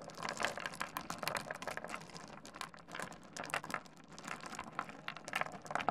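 Fingertips dig into, rub and shuffle a heap of small solid stone pebbles on a wooden desk, clicking the stones together. Dense, quick, bright clicks and rattles overlap in uneven bursts over a soft rustling bed, with little low end and very short ring.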